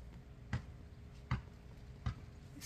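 A large luffa gourd still on the vine is tapped by hand, giving three short, dull, low thuds spaced about three-quarters of a second apart, with another beginning right at the end. Each tap dies away quickly over a faint steady background hiss. The gourd sounds full, meaning it is fresh rather than dried out.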